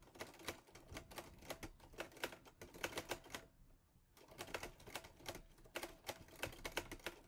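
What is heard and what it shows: Fingertips type rapidly on the keys of a mint-green Olivetti Lettera 22 portable typewriter with a metal body and paper loaded. Sharp, bright mechanical clacks come in quick bursts and die away almost instantly. There is a brief pause in the middle before the typing resumes.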